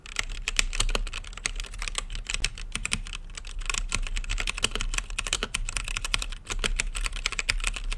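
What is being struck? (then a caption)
Plastic mechanical keyboard with acrylic case. Fingertips type fast across a full-size mechanical keyboard with plastic keycaps and a hollow, translucent acrylic case lit green. The keys give a dense, continuous stream of sharp, bright clacks that die away almost instantly, over a steady low hum.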